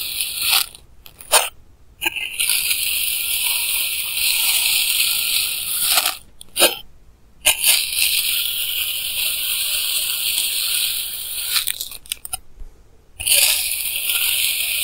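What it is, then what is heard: Kinetic sand being cut. A clear plastic knife repeatedly slices and scrapes through solid pink kinetic sand blocks with a lavalier mic held close. Long, bright, grainy crunching hisses run in sustained strokes, broken by a few short quiet gaps between cuts, with almost no low end.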